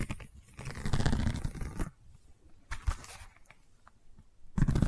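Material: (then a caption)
Seagrass. Long nails scratch over a long cylindrical seagrass tube covered in woven straw weave, making dry, crunchy, tearing rasps. A dense stretch of scratching gives way to quieter scrapes and a few short bursts, then ends with a loud scratch. The sound is mostly low and thuddy with little ring.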